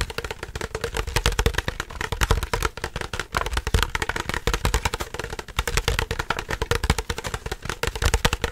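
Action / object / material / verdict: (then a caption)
tap / plastic drinking bottle / plastic / none. A clear plastic drinking bottle with a green cap, hollow and apparently empty, is held in both hands and squeezed, crinkled and tapped with the fingers. A dense run of quick, dry crackles and taps carries a hollow low thump beneath bright crinkling, with each sound dying away almost at once.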